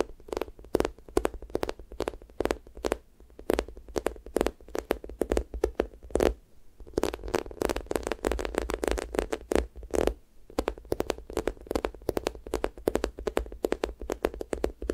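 Fingertips and nails tap, press and peel off the sticky skin of a pink square toast squishy toy made of soft, solid foam. The result is a fast, steady stream of short, dry sticky clicks and crackly peeling ticks, each with a mid-toned body around 400 Hz. The stream pauses briefly about a third of the way in and again near two-thirds.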